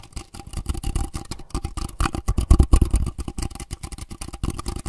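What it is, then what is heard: Thin plastic cup. A small, empty, thin translucent clear plastic disposable cup is held in both hands close to the recorder while fingertips scratch, tap and squeeze its walls. The result is a rapid, dense stream of short, dry crinkles and taps with a heavy, boomy low end and faint bright scratchy edges.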